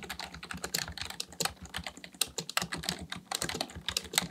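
Fingertips of both hands type continuously on a black plastic full-size membrane keyboard (Dell KB1421) with a hollow housing, resting on a desk, pressing and tapping keys. The result is a dense, steady stream of short, bright, clicky taps with hollow plastic clatter, each dying away almost instantly, with a few louder strikes standing out.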